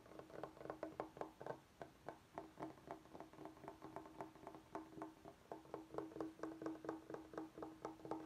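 Fingertips and short nails tap and scratch the face of a large, flat, rectangular solid bamboo cutting board held upright on a wooden table. The result is a quick, uneven run of dry, hollow wooden knocks with a low-mid tone around 320 Hz that dies away almost at once, with faint scratching between the taps.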